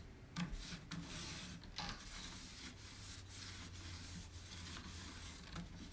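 A cloth held in the fingers wipes and rubs the inner rim and lattice centre of a round, shallow, white-painted distressed wooden tray, hollow and empty. It makes a steady, bright, airy rubbing hiss in sweeping strokes over a low hum, with a few slightly louder swipes along the way.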